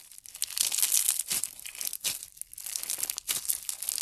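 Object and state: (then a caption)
Fishbowl-bead slime being pressed. Yellow fishbowl-bead slime is folded and pressed between fingers, giving off dense, bright crinkling and crackling with a brief, crunchy pop. The sound sits almost entirely in the high range with no low end, swelling and fading in uneven bursts.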